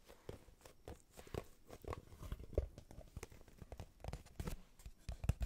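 A small hollow brown kraft cardboard box, held up in both hands, is tapped and scratched with long nails. The result is a quick run of soft, dull, low-heavy taps with faint scratchy brushing between them. Each tap dies away almost at once.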